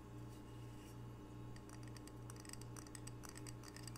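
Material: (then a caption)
Ceramic. A small, solid, square glazed ceramic coaster printed "Camano Island" is held in both hands and tapped quickly with long fingernails. Quiet, bright clicking taps come in uneven bursts over a steady low hum.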